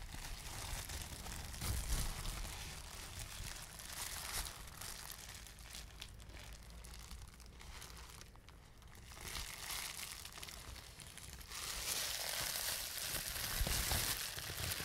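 A clear plastic bubble wrap sheet is crumpled and squeezed by fingers close by, popping its bubbles. A steady, bright crinkling runs throughout with sharp pops and low thumps, louder around 2 seconds, dipping quieter near 8 to 9 seconds, then swelling again from about 11.5 seconds to the end.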